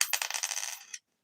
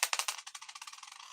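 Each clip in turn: First: copper penny, higher ping. Second: zinc penny with a dull ping.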